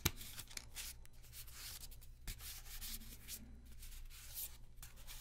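A small deck of thin paper playing cards is held in both hands while fingertips rub and slide the cards against each other, as in shuffling and fanning. The result is a soft, steady papery hiss with bright, high scratchy texture over a low background hum, marked by a few brief sharper rustles.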